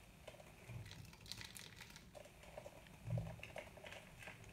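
A small metal knife scrapes and cuts crumbly flakes from the edge of a very hard, dry white bar of soap held in the palm. Quiet, crisp crackling and dry scraping ticks come in a steady patter, with a few slightly louder crunching cuts, one around the three-second mark.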